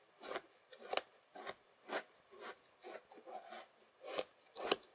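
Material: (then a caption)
Sand. A white plastic fork held in the fingers presses and scrapes across a flattened layer of beige kinetic sand. Soft, dry, gritty scraping strokes come in short, uneven bursts with quiet gaps between them, each sounding bright and crisp with almost no low end. A few sharper, louder scrapes stand out from the rest.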